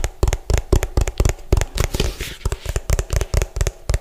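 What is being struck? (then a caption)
Plastic food container. Fingernails tap rapidly and forcefully on the bottom and side of a hollow orange plastic food container. About 18 quick, dry taps land in an uneven rhythm, each a low, hollow thud with a bright clicky edge that dies away almost instantly. A brief soft rustle passes partway through.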